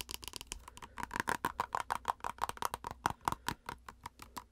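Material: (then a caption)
Plastic. Long acrylic nails rapidly tap and scratch a plastic face-mask squeeze tube with a printed label. The result is a fast, irregular stream of sharp, dry clicks, each with a short hollow plastic ping near 1 kHz, mixed with brief scratchy rasps that die away almost instantly.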